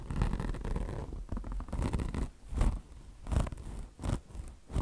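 Long blue nails on both hands rapidly scratch the mesh covering of a microfiber car wash sponge. The result is a dense, raspy scratching with low rumbling texture, rising in several louder bursts amid continuous rubbing.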